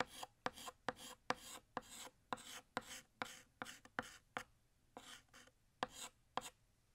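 Fingertips hold a blue chalk stick and draw a bottle outline on a large, flat, solid black chalkboard. About 16 short, scratchy strokes are heard, each a bright, dry rasp with a faint squeaky tone near 500 Hz. Brief quiet gaps separate the strokes.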